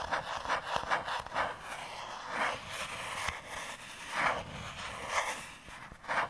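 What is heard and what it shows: Fingertips and short nails tap and scratch the surface of a thin, light, hollow-backed white molded paper fibre insert tray from an iPhone box, held in one hand. The taps are dry and papery, with a bright hollow tone around 1 kHz, coming in an irregular rhythm over soft rustling.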